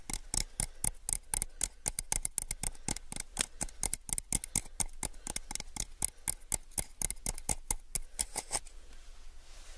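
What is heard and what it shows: A small, hollow, empty clear plastic cup is held upside down and tapped on its base and sides with fingertips. About forty quick, dry, bright taps come in an uneven rhythm with almost no ring. They stop shortly before the end, leaving a soft hiss.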